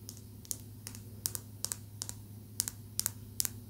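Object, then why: Small polished calcite stone tapped with fingernails. A small, smooth, solid green calcite tumbled stone held in the fingers is tapped rapidly with long nails. Fourteen sharp, bright clicks come in an uneven rhythm, often in quick pairs, each dying away instantly. A steady low hum runs underneath.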